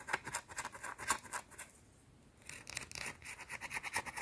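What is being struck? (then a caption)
Solid soap bar. Long teal-painted nails scratch aggressively at a small, round, solid white soap bar held in the hands. Quick, bright, dry scratching strokes come in a fast stream, break into a brief near-silent pause, then resume just as rapidly.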